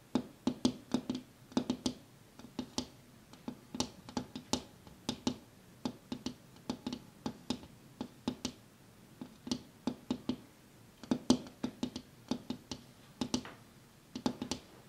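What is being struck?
Glass window pane.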